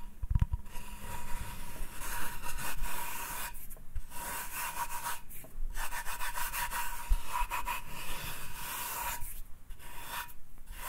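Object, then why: Hardwood cutting board. Fingers rub and scratch across the surface of a flat, solid hardwood cutting board held in the hand. The result is a continuous dry, bright scratching texture in several long passes, broken by brief quiet gaps, with a faint steady tone running underneath.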